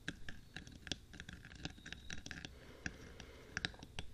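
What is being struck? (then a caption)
Metal binaural microphone body. Fingertips and short nails of both hands tap and scratch along the top of the hollow black rectangular metal body of a 3Dio binaural microphone on a stand, between its two white silicone ears. Quick, dry clicks and scratches with a bright metallic ping ring out over a low rumble, each dying away almost instantly. Faint whispering or breathing may be present underneath.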